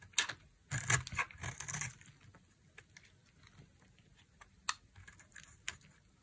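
A utility knife blade carves a solid, dry bar of pink soap with a brown coating. Crisp, bright scraping and crunching bursts come in the first two seconds. These are followed by quieter, scattered shaving sounds and a few sharp ticks near the end.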